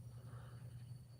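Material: Nothing is struck.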